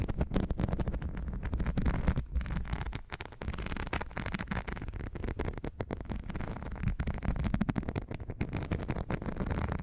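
Long nails scratch and tap the patterned surface of a folded strip of thin grey textured non-slip rubber or silicone sheet held upright in both hands. The result is a dense, continuous run of rapid crackling scratches and taps with a heavy, muffled low rumble and very little brightness.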